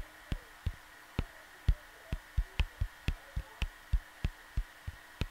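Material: Cardboard.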